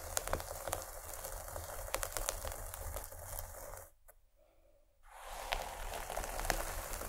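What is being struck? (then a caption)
Cloth pencil case. Long fingernails of both hands scratch the fabric near one end of a paisley cloth pencil case turned lengthwise. The result is a dense, crackly scratching with a steady low rumble underneath. It drops to near silence for about a second midway, then resumes at the same level.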